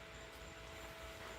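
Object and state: Nothing is struck.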